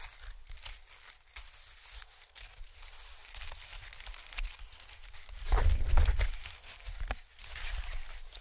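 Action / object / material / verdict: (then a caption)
scrape / honeycomb-cut packing paper / paper / none. A large, thin sheet of white expanded honeycomb-cut packing paper is held in both hands while fingertips stretch and crinkle it. The result is a steady stream of soft, dry crinkles and papery tearing-like rustles with bright, airy texture and a low rumble underneath. It swells to a louder, denser crunch around the middle before settling back.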